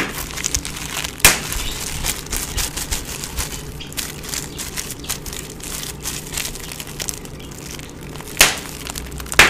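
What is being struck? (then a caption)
Plastic bubble wrap sheet. A clear plastic bubble wrap sheet is held and crumpled in both hands while fingers pop the bubbles and crinkle the film. A steady, bright crackling rustle runs throughout, with three sharp, louder pops standing out near the start and at the end.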